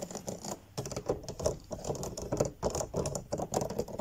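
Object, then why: Plastic digital piano keys. Fingertips and nails tap quickly on the white and black plastic keys of a digital piano keyboard. The result is a dense, uneven patter of soft clicks that sounds like typing, with no piano notes sounding.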